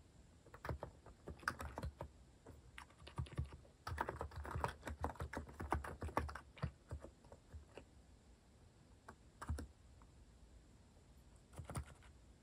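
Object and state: Plastic mechanical keyboard being typed on.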